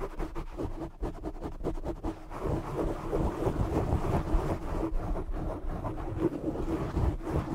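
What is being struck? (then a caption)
Foam microphone windscreen. Both hands cup a soft, hollow black foam windscreen over a large desktop microphone and scratch it with short fingernails and fingertips. Rapid, choppy scratching strokes in the first two seconds give way to a steady, muffled, bassy rumble with rustling texture. The sound stays heavy in the low end, with almost no bright content.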